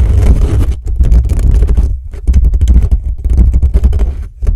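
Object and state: Metal microphone grille being scratched.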